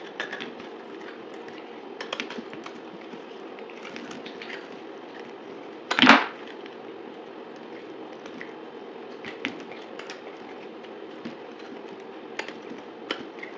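A solid blue, dried bar of soap held in the hand is sliced and scraped into flakes with a utility knife. A steady, dry scraping rasp runs throughout, dotted with small crisp ticks, and one louder, bright crunching crack stands out about halfway through.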